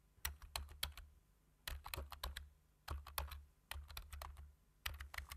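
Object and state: Plastic computer keyboard.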